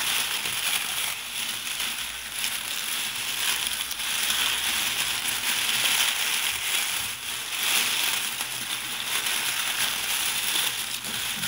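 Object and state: Nothing is struck.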